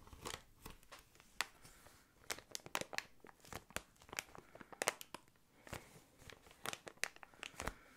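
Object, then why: Plastic air column packaging. Clear plastic air column packaging is squeezed and crinkled by hand, then scratched with the fingertips. Quiet, sharp crinkles and crackles come in irregular bursts with fast, bright, dry snaps that die away almost instantly, with little low end.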